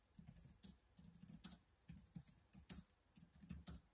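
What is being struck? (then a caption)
Plastic laptop keyboard. Fingertips type continuously on the keys of a black plastic laptop keyboard. The result is a quiet, steady stream of short clicks and soft thuds, each with a dull low body and a bright plastic tick that dies away almost at once.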